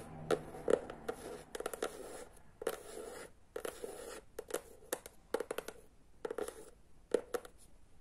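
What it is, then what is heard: Hardcover book. Long nails tap and scratch along the edges and front of a small, solid hardcover children's book with an illustrated teal cardboard cover, held upright. Quick, dry, uneven taps with a hollow mid-range knock are broken up by soft, brushy scratching strokes at a quiet level.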